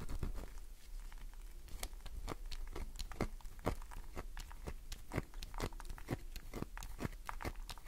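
Fingernails scratch fast across a solid green glycerin soap bar, making a quiet, continuous dry scraping broken by many sharp crisp clicks. Soap shavings scatter onto the table.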